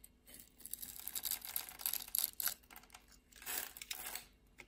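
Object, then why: Bar of soap. A solid purple bar of soap held in a hand with long red nails has its pre-scored grid cut away into small cubes with a utility knife blade. The blade's scraping makes quiet, dry, crisp crumbling and crinkling bursts, mostly bright and high with almost no low end, in two main clusters.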